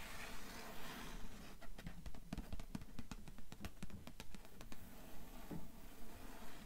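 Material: Cloth, cardboard.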